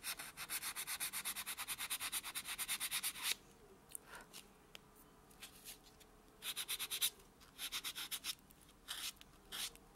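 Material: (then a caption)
Keratin, foam. A white solid foam buffer block is rubbed back and forth over a natural fingernail while the hand lies flat on a dark surface. It makes quick, rhythmic, bright scratchy strokes for about three seconds, then near silence with a few faint ticks, before shorter bursts of the same rapid buffing return.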